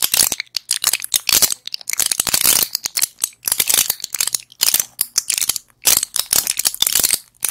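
A small, flat pill blister pack with plastic bubbles and a foil back is held in both hands and tapped and scratched with long acrylic nails. The result is a dense run of quick, bright clicks and crinkly scratching, almost all of it high-pitched, with no low end and short gaps between bursts.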